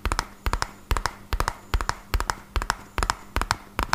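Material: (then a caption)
Cardboard. A small, hollow, red printed cardboard medicine box is held in one hand and tapped fast with fingertips and nails. Quick clusters of dry, hollow knocks repeat in a steady rhythm, each tap dying away almost at once, with a low thud body and a bright clicky edge from the nails.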